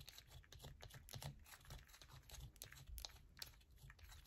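A palm-sized solid yellow bar of soap is held in both hands while long nails scratch it rapidly, dropping shavings onto a purple mat. The result is a quiet, continuous run of dry, crisp scraping and ticking bursts with bright highs over a soft low rumble.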